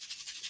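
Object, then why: Paper and foam shaker card with sequins inside. A finished shaker tag card, a paper and foam shaker box with a Poly-Glaze window, is shaken so the loose disco ball sequins inside rattle. The sound is a quiet, continuous high-pitched rustling hiss, almost entirely above 2 kHz, swelling and fading in rapid pulses with each shake.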